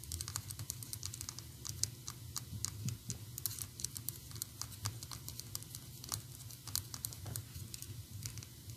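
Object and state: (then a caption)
Plastic figurine tapped with nails. Long acrylic nails tap and scratch all over a small, solid, painted PVC Anger figurine on a round plastic base. The result is a rapid, dense patter of crisp, dry clicks and scraping with bright high-end detail over a steady low rumble.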